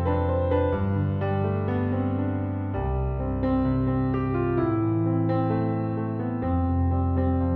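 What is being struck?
Nothing is struck.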